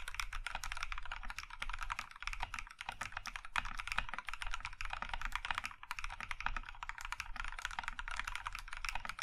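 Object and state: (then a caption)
Mechanical keyboard with plastic keycaps. Both hands type with their fingertips on a compact Iron165 mechanical keyboard in a maroon metal case with cream plastic keycaps. A fast, steady stream of short, dry clacks sits over a low thudding bottom, with each keystroke dying away almost instantly.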